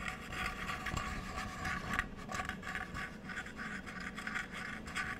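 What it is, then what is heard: Cork coaster with plastic frame. A small, solid square cork coaster with a cork centre and a checkered plastic border is tapped and scratched across its surface with long nails. The result is a steady, quiet, dry scratching and rasping texture with soft taps mixed in, its bright scratchy tone centred around 1–2 kHz.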